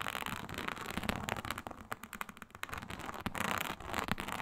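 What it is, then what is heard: Faux snakeskin leather mat. Long nail tips scratch lightly across a flat, iridescent faux snakeskin mat of embossed reptile-pattern synthetic leather. The result is a soft, dense, crackly rasp of quick, dry scrapes with short, bright ticks scattered through and no ringing after each stroke.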